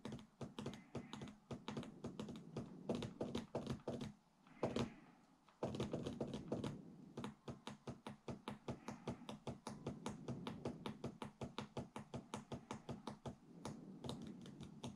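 Fingertips rapidly type and tap on the plastic keys and palm rest of a large white Alienware laptop, whose hollow body is plastic and metal. It makes a steady stream of quick, dull plastic clacks with a hollow low thump and short decay. A brief lull near the four-second mark is broken by a louder cluster of taps before the typing resumes.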